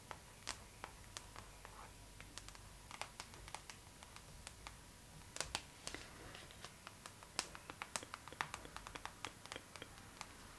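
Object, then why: Glossy paper magazine cover. Long pink acrylic nails tap and scratch the glossy paper cover of a thin, flat Vogue magazine, held upright at first and then laid flat. Quiet, sharp, bright clicks come in quick irregular bursts, with light papery scratching between them. Each tap dies away almost instantly over a faint steady background tone.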